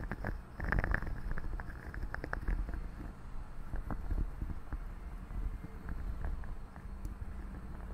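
Long fingernails scratch and rub both sides of the hollow metal mesh grille on a large silver condenser microphone. The result is a dense, low, purr-like rumble scattered with quick, sharp scratchy ticks that flick up into brighter tones.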